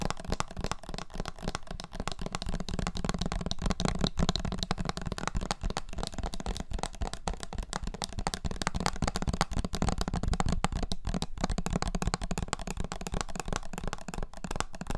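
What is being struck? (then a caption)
Small plastic bottle of liquid with a plastic flip-top cap. A small clear, labeled plastic syrup bottle filled with dark liquid and topped with a red plastic flip-top cap is held in both hands and tapped quickly with fingertips and nails. The result is a steady, dense stream of short, dry taps and clicks for the whole clip, weighted toward a low, hollow thud with little high ring.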